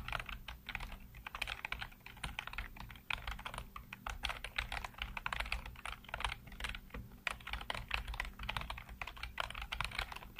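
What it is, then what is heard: Plastic computer keyboard. Fingertips type rapidly across a full-size black plastic computer keyboard with hollow keycaps, heard close up. Dense, bright, short clacks run continuously, with uneven bursts and brief pauses, over a steady low hum.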